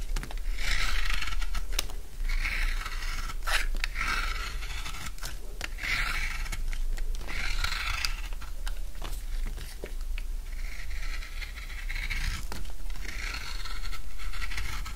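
A utility knife cuts and shaves a solid bar of dry blue soap into chunks, producing repeated dry scraping and crunchy cutting strokes in bright bursts. A steady low hum runs underneath throughout.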